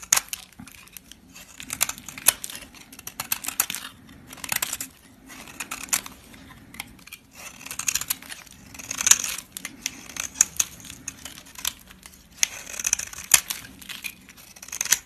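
A solid white soap bar held in a hand with blue-painted nails is shaved with a flat blade, thin slices scraped off and falling onto a green surface. Bright, crisp scraping and crumbling cuts come in quick bursts with short pauses between them, each stroke dry and papery with no ring.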